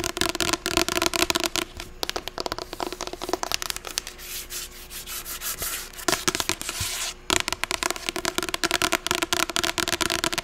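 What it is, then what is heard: Paperback book. Long acrylic nails tap and scratch fast on the glossy blue front cover of a medium paperback novel, *Ugly Love*, held upright and closed. Rapid, bright, dry clicks and crackly scratches come in dense bursts, easing into a quieter, smoother scratching stretch in the middle before the fast tapping returns.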